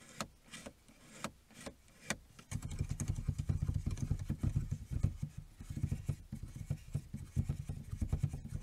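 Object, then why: Plastic dashboard air vent. Fingertips and short nails tap, rub and scratch along the hard plastic slats and small chrome-trimmed adjuster tab of a hollow dashboard air vent in a car. The first couple of seconds bring a few sparse, separate taps, then a dense run of quick taps and scratches over a steady low hum.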